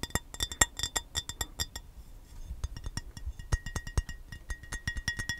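An empty, hollow, rectangular clear glass baking dish, held in the hands, is tapped with the fingernails in quick, uneven bursts of sharp clicks. Each tap gives a bright, glassy ping with high overtones that dies away almost at once. There is a brief lull in the middle before the rapid tapping resumes.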